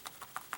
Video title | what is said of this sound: Mezco Toyz Living Dead Dolls A Nightmare on Elm Street Talking Freddy Krueger - Video Review HORROR | when you pick up the figure and you shake it what's rattling those the boots the boots are separate